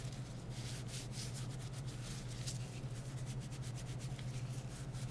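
Gloved hands rub a disinfectant wipe over the back and edges of a smartphone in a light plastic or silicone case. Soft, bright swishing strokes repeat in an uneven rhythm over a steady low hum.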